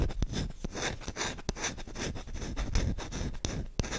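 Short-nailed fingertips rub and scratch fast across the bowl of a solid wooden spoon held close, giving a dense, dry scraping texture. Sharp clicks break through the scratching, with a low, close-up rumble beneath and a bright, airy hiss on top.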